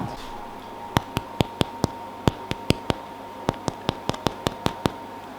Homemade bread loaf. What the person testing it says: Sounds hollow? That's what you want.